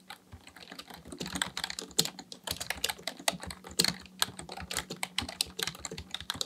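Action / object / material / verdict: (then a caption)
tap / plastic membrane computer keyboard / plastic / none. Fingertips of both hands type continuously on a black plastic full-size membrane keyboard (Dell KB1421) with a hollow housing, resting on a desk, pressing and tapping keys. Quick, bright clicks and taps follow one another in a steady, uneven stream, each dying away almost at once, over a faint low steady hum.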